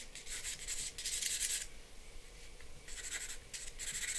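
A charcoal pencil scratches lines and shading across a flat sheet of drawing paper resting on a board. Bright, dry, raspy strokes come in quick bursts for the first second and a half, fall to a quiet gap, then return as more scratchy strokes toward the end.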